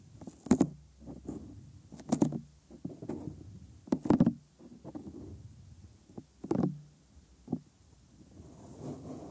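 Bare fingers and thumbs grip, fold and rub the helix of a soft, flexible, hollow white silicone ear on a 3Dio binaural microphone. The result is a series of close, muffled rubbing and squeaking touches. Several louder, sharper contacts stand out against the soft, low, dull friction between them.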